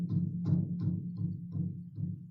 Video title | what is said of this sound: Ep. 19: The Abandoned Eloise Asylum with Zach Martina | he was just banging on the metal wall of the side of the elevator shaft